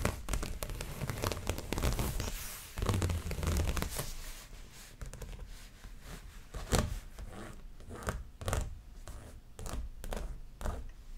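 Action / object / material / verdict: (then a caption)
scrape / stretched canvas on a wooden frame / canvas / none. Long fingernails on both hands scratch and tap across the surface of a stretched canvas dreamcatcher art print on its frame, held up close. A dense, dry scratching with a deep, hollow low thump fills the first few seconds, then gives way to sparser, sharper taps and short scrapes that ring only briefly on the taut canvas.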